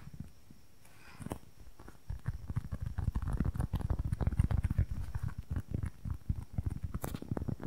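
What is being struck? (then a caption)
Small polyurethane foam squishy cube. A small, soft, solid polyurethane foam squishy cube, white with a red and green printed side, is held in both hands near the mic and tapped and scratched with long nails. After a quiet start with one soft tap, fast, irregular tapping begins and continues: dull, muffled, low thuds that die away at once, with faint scratchy ticks on top.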